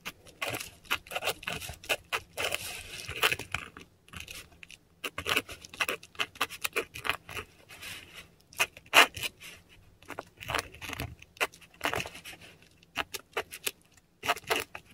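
A metal dip pen nib scratches Cyrillic words in ink across a flat, textured Korean paper sheet. Bright, dry scratching strokes come in quick bursts separated by brief pauses, with a faint low hum underneath.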